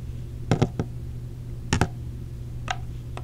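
Long blue-painted nails tap a small, hollow, clear plastic blister case holding orange silicone earplugs. Seven short, sharp plastic clicks fall in loose, uneven pairs and singles over a steady low hum.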